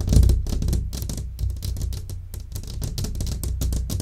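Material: Glass.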